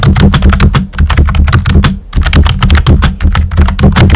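Fingertips with short nails type on a pink and white plastic computer keyboard with round typewriter-style keycaps and hollow keys. A rapid run of hollow, clacky taps with a deep, boomy low body pauses briefly near the middle, then continues at the same steady pace.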